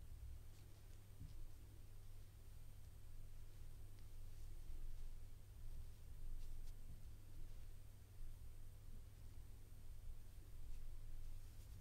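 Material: Nothing is struck.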